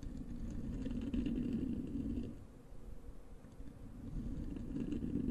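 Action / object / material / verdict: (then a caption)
scrape / foam microphone windscreen / foam / none. Long acrylic nails of both hands scratch a soft, porous black foam windscreen over a large desktop microphone. The result is a dense, rumbling scratch with a low hum near 250 Hz and little bright content. It eases down in the middle before building back up.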